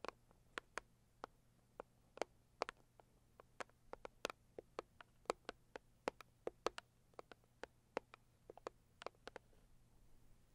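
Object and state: Cardboard gift box tapped with nails.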